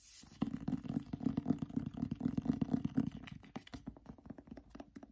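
Nails tap and scratch the front cover of a cloth-bound hardcover copy of "Anne of Green Gables" with gold lettering. The result is a quick, irregular run of soft, dull taps mixed with scratchy rubbing; the taps are low and muted, with no ring.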